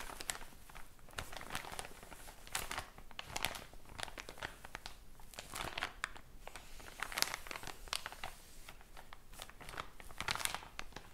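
A full, tall soft package of cotton pads wrapped in thin plastic film with a white and pink label is held in the hand and squeezed by fingers with long blue-painted nails. The plastic gives off a steady run of bright, quick crinkles and crackles with brief louder bursts, and there is no ringing between them.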